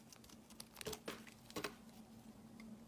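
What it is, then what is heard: Bar of soap being carved. A metal knife blade scrapes shavings off the edge of a solid, palm-sized, cream-colored bar of soap with embossed lettering, held in the hand. Soft, crisp scraping and crinkly shaving sounds come in short, bright bursts, with a few louder strokes in the middle. A faint steady low hum sits underneath.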